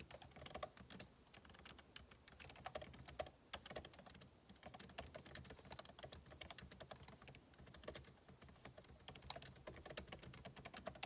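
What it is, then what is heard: Laptop keyboard, plastic keys. Fingertips type rapidly on the plastic keycaps of a backlit MacBook Pro keyboard set in an aluminum body. The result is a dense, steady stream of short, dry clicks with bright taps and soft low thuds, and no pauses.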